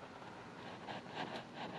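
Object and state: Nothing is struck.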